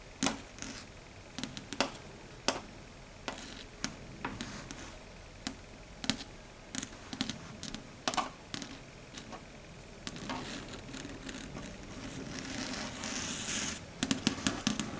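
Long red stiletto nails tap on a flat, dark grey matte solid chalkboard surface in quick, typing-like clicks. Sharp, dry, bright ticks stop almost instantly, scattered at first. From about ten seconds, a steadier scratchy rustle builds underneath, and the clip ends with a tight cluster of crisp taps.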